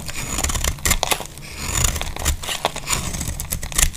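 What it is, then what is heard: Dry soap bar being shaved. A metal utility blade scrapes thin flakes off a solid, hand-sized bar of dry green soap held in a hand with long glittery nails. A rapid series of dry, bright shaving strokes rasps and crackles over a low rumble. The flakes come away in short, crisp bursts.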